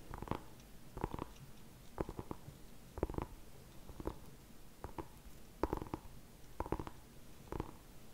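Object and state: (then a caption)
Small pumpkin tapped. A small whole orange pumpkin is held in both hands while fingertips and nails tap and scratch its skin. Short, dry, hollow taps come in quick pairs and small clusters about once a second, each dying away almost at once over a low, steady background.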